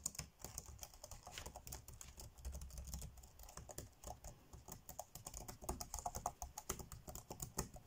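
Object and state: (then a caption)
Plastic laptop keyboard. Fingertips tap fast on the dark grey plastic chiclet keys of an ASUS laptop keyboard, typing steadily. A dense run of short, dry clicks with soft low thuds and bright tops continues for the whole clip, each tap dying away almost instantly.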